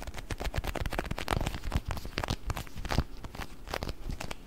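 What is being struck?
Plastic food container with water beads.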